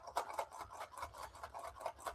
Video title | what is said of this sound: Building a LEGO city | I can shake this around without it it falling apart. Now, I can hear rattling inside here.